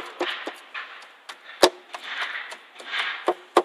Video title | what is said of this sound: Стучат (скрипят) задние фонари Ford Focus 3 | Фонарь весь шатается и гремит. Хотя я постукиваю слегка.